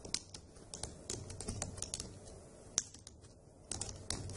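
Long acrylic nails and fingertips type on the hollow key caps of a dark grey plastic laptop keyboard. The repeated tapping makes sharp, bright clicks that stop quickly, with a few louder taps standing out over a soft low rumble.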